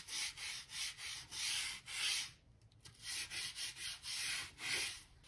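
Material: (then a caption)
Oak wood. A stiff-bristle crevice brush, held in the hand, scrubs along the gap between solid oak floorboards in a wooden plank floor. Quick, even back-and-forth strokes make a bright, airy scratching hiss that pauses briefly midway, then resumes in the same rhythm.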